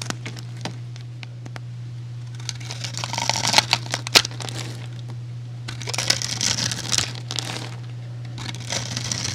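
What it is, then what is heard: Bar soap being cut and scraped. A utility knife scores a grid into a solid white bar of soap with a stamped face, held in the hand, and scrapes flakes off it. Bursts of dry, crisp, high crackling and scraping come in two clusters over a steady low hum.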